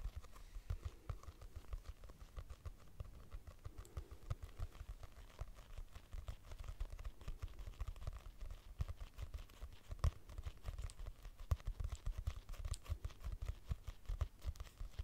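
Long nails tap rapidly on the cover and edges of a purple hardcover notebook with a price sticker, its solid paper block giving each tap a dull, low thud. The quiet, steady patter of short, clicky knocks dies away almost instantly, with only a faint bright tick on some strikes.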